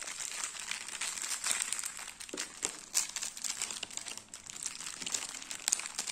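A full, cylindrical stack of round crackers in clear plastic wrap is held in the hand and tapped and scratched with fingertips and nails on the wrap. The result is a continuous, bright, dry crinkling with almost no low end, broken by a few sharper crackly taps around the middle and near the end.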